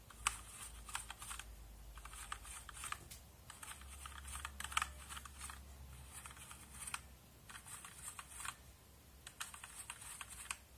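A hand brushes the plastic keycaps of a backlit mechanical keyboard with a small brush, making rapid bursts of bright scratching mixed with quick key clicks. The bursts come in uneven clusters over a steady low hum.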